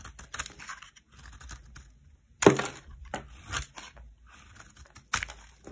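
A solid cream-white bar of soap is held by hand while a knife carves crumbly shavings from it. Soft, dry scraping and crunchy crackles come in quiet bursts, with a sharper, louder crunch near the middle and another toward the end.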